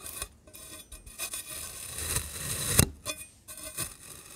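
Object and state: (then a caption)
Kinetic sand being sliced and scraped. A rainbow-coated metal knife blade slices and scrapes through a solid, palm-sized ring of black kinetic sand topped with a pink crumbly layer. The sand gives soft, grainy crunching and scraping sounds in five distinct strokes, with one sharper, brighter cut standing out partway through.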